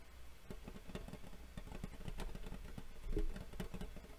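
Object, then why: Metal tin box. A gold embossed metal Yu-Gi-Oh collector tin, a hollow rectangular box lying flat, is tapped and scratched with the long fingernails and fingertips of both hands. Soft, quick clicking taps with short ringing tails sit over a low, hollow tone and a faint rumble, staying quiet and low-heavy throughout.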